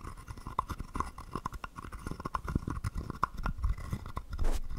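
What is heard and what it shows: A small hollow carved wooden frog guiro with a ridged back is held in one palm while a wooden stick is rubbed along its ridges and tapped against its body. Quick, dry clicks and short scrapes follow one another, most with a faint woody ring near 1 kHz over a heavy low thump. The clip ends with a longer, brighter rasp along the ridges.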